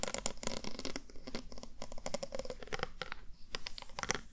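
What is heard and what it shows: A glittery mermaid-tail pen tip taps and scratches across a small handheld square panel, possibly a box or compact, covered in multicolored plastic or acrylic heart-shaped rhinestones and held up in one hand. Quick, crisp clicks and scratchy ticks come in a dense, uneven patter, each dying away almost instantly with bright edges.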